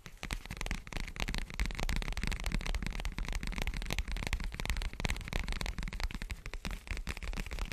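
Fingertips of both hands scratch and rub a large dark foam windscreen covering a microphone. The result is a dense, continuous crackling and rustling with a heavy low rumble and bright, scratchy edges, close and steady for the whole clip.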